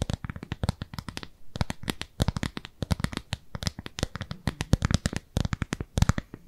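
Long nails scratch and tap the surface of a thin, translucent frosted plastic round lid held in both hands. A rapid, uneven stream of dozens of short, dry clicks and taps mixes with scratchy brushing, each tap dying away instantly with no ring.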